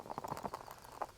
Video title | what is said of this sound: Must Know Tips for Frog Fishing Bass | you hear the rattles inside my frog